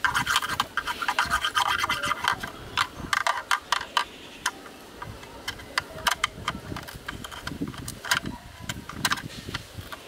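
A bamboo stick scratches and rubs inside a black rectangular hollow plastic camera lens hood with a ribbed inner wall. The sound is a dry, irregular rasping with a rapid stream of short, bright clicks and ticks as the stick catches on the ribs, and some quieter rubbing between bursts.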